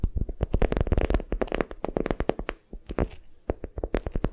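A palm-sized bundle of patterned beeswax-coated cotton wrap, folded around a small soft squishy block, is squeezed and gripped with long nails and fingertips. It makes a quick series of dull, crinkly crackles and soft taps, heavy in the low end with almost no bright content. Each sound stops almost instantly, with a short lull just past the midpoint before the squeezing resumes.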